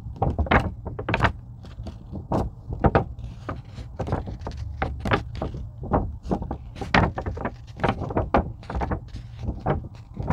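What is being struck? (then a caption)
Thin EVA foam sheet tapped and scratched with fingernails. A thin purple-blue craft foam sheet, likely EVA, is held by both hands at its edges while long pink nails scratch and tap its surface. The result is a quick, uneven run of short, dry taps and bright scratchy crackles over a soft, low, dull thump.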